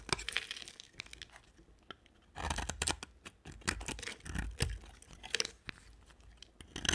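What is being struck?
Solid bar of soap scraped with a knife blade.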